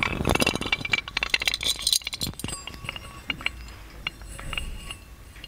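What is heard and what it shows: A gold-plated metal magic lamp is held up while fingernails tap its handle, lid and body. Dense, uneven clicks and bright metallic clinks with short rings come fast at first, then thin out into softer, scattered taps.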